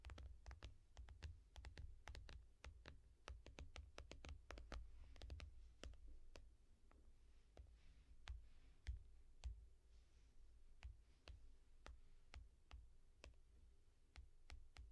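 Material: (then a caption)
Glass. Long nails tap slowly on the glass screen of a small tablet in a yellow foam case. Sharp, bright clicks arrive at an irregular pace over a steady low hum, each dying away almost instantly.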